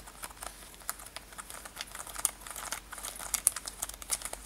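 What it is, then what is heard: Denim top scratched with fingernails. Long nails scratch rapidly over a worn light-blue denim lace-up top with metal eyelets. The result is a quiet, dense run of dry, bright scratching and crinkling ticks, with a few sharper, louder scrapes toward the end.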